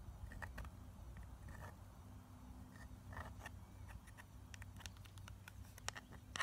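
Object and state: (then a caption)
Plastic eyeshadow palette. Long nails scratch and tap the pressed-powder pans and plastic edges of a clear plastic eyeshadow palette held up in the air. Quick, dry clicks and brief scratchy strokes with a bright edge repeat over a steady low hum. Each tap dies away almost instantly.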